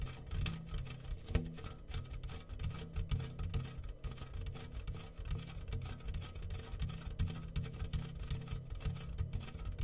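A homemade rain drum made from a medium, round, yellow-painted metal tin, hollow with a clear plastic film stretched over its open top and small loose grains inside, is held in both hands and slowly tilted and rocked. The grains roll and patter across the film in a steady, soft, low rushing rumble with faint bright hiss and one sharper tick early on.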